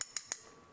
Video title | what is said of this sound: Pioneer SX1010 Part Two A Little More Troubleshooting | it seems like the contacts are holding pretty good. They seem tightly engaged. They don't seem fickle or anything.